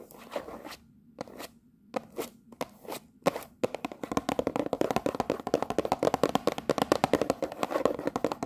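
Long nails tap and scratch the front and top of a cellophane-wrapped cardboard tea box. A few separate crinkly scratching strokes come first, then a fast, steady run of sharp, crackly taps with a mid-range tone around 500 Hz that fills the rest of the clip.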